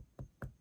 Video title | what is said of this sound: Injuries to the Bone, Joint, and Muscle | if you knock on your head, you'll hear that it's hard